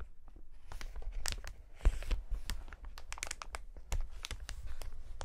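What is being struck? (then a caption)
Polyethylene air cushion packaging sheet. A clear polyethylene air-cushion packaging sheet is held close and pinched and rubbed by gloved fingertips, producing dense, continuous crinkling and crackling. Sharp, bright snaps stand out over a low rumble, with a few louder crunches along the way.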